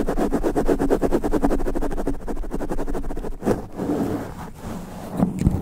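Long black nails scratch quickly across the top of a sponge foam microphone windscreen. The result is a dense, muffled, low-heavy rasping of rapid strokes, rhythmic at first and then more uneven, with a few louder swipes near the end.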